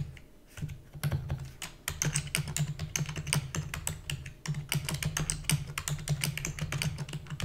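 Rapid typing on a black full-size plastic computer keyboard with hollow key housing, its keys pressed quickly by fingertips with long natural nails. Dense bursts of short, bright clicks each carry a hollow low thump, with brief pauses between runs.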